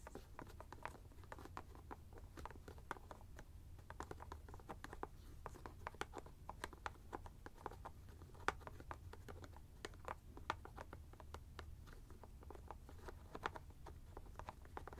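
A white plastic screw cap on a teal ice bag is tapped and scratched repeatedly with fingertips and short nails close to the mic. It makes a steady stream of quick, dry clicking taps and faint scratches with almost no ring, centered around 1.2 kHz over a soft low rumble. The sound stays quiet throughout.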